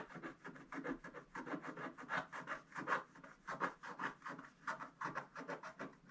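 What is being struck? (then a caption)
Scratch-art paper page scratched with a wooden stick. A wooden stick scratches fast strokes across a black-coated gold scratch-art page, with the brush left unused. It makes a quick series of dry, rasping scrapes, each short and centred around 1 kHz, with a bright hiss and an uneven rhythm.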